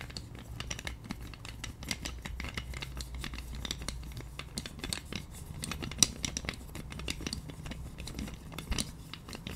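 A pink plastic massage roller with white spiky plastic wheels is held in both hands while long nails scratch the wheels and tap the handle. Quiet, rapid, crisp clicks and scratchy ticks come through over a low steady hum, with one sharper tap standing out near the middle.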